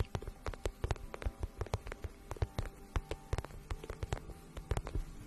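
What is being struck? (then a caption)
Flat vinyl pouch. A medium, flat pink pouch of shiny patent vinyl, hollow and seemingly empty, is held in both hands and tapped and scratched with long painted nails. It makes a steady string of quick, dull, low taps that die away almost instantly, with faint scratchy texture between them.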